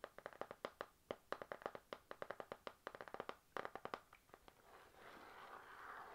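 Long nails and fingertips tap a run of about 32 quick, dry, clicky strikes on the glossy laminated cardboard cover of an A5 panda-print notebook with a metal spiral. The taps have very short ring and sit in the mids around 550 Hz. After about 5 seconds the tapping gives way to a soft, steady rustling hiss that continues to the end.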